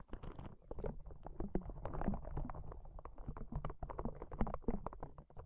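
A small, hollow, yellow-green soft rubber spiky ball is held in one hand and squeezed and rubbed with the fingers. It makes a steady run of quick, muffled rubbery squeaks, creaks and soft taps. The sound is mostly low and dull with almost no bright content.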